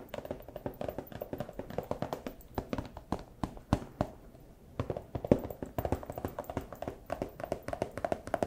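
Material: Plastic.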